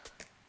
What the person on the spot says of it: this charging flap feels like metal, sounds like metal